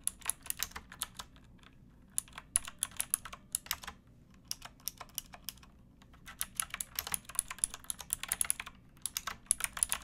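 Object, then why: Plastic mechanical keyboard. Both hands type with fingertips and nails on a pink backlit mechanical keyboard with plastic keycaps, producing rapid, bright, crisp clicks that stop almost instantly. The typing comes in quick bursts with short pauses near two seconds and a longer quiet stretch around four to six seconds, over a faint low hum.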